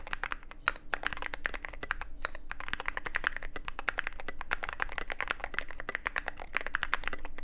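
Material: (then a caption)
Plastic, aluminum. Both hands type continuously with their fingertips on a roughly 75% Cyberboard mechanical keyboard with white and grey plastic SA-profile keycaps on lubed switches, set in a hollow black aluminum case with an LED side panel. The result is a dense, steady stream of quick, clacky keystrokes with a hollow ring, each click sharp and short-lived and centered in the upper midrange.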